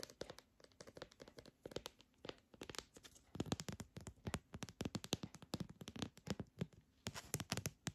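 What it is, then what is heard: Plastic pill organizer. Long dark-painted nails tap quickly on a long, narrow, hollow red translucent plastic pill organizer with compartments, held up close. The result is a steady run of short, dry clicks and hollow plastic knocks with little ring, bright on top with a low body. Some music may be faintly present.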